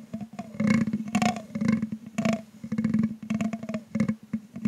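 A thin grey stick is dragged and tapped across a hollow metal mesh microphone grille with a green LED, while the other hand rests on the stand. Quick clicking taps and scratchy scrapes come in clustered bursts over a steady low hum, with a faint ringing tone that fades between strokes.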